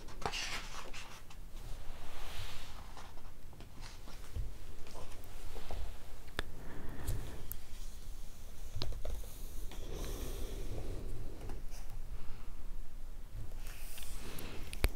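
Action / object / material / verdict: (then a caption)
scrape / hardcover book, paper pages / paper / none. A bare hand turns a page of a large open hardcover picture book with thick white paper pages and a red ribbon bookmark, lying flat on a woven mat, then rubs and strokes the pages with palm and fingertips. Soft, continuous papery brushing and rubbing is heard, with small scratchy ticks over a dull low rumble throughout.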